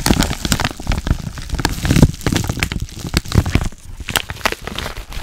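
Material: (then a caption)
Kraft paper. A yellow kraft padded paper mailer with a label, hollow with contents inside, is squeezed and crinkled by hands and nails close to the microphone. The result is dense, continuous crinkling and crackling, with sharp, quick-fading clicks over a soft, low-heavy rustle.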